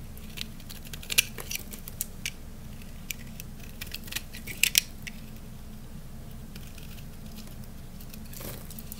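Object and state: Dry soap bar being shaved.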